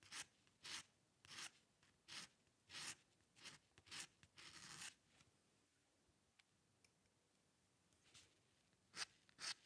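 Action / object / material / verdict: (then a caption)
scrape / metal pen nib on a paper sheet / paper / none. The metal nib of a dip pen with a green patterned holder scratches fine hair strokes across a single sheet of white drawing paper lying flat on a dark table. Short, bright, dry rasping strokes come in a quick series, with one longer stroke, then a quiet pause before a few sharper strokes at the end.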